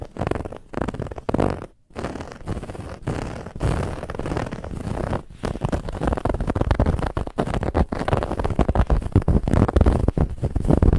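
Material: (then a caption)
Fabric. Long fingernails scratch quickly and hard across a soft, stuffed white fabric pillow with a woven textured band. The result is a dense, continuous run of rough, low, rumbling scrapes with little brightness, broken by a brief pause near the two-second mark before growing slightly louder toward the end.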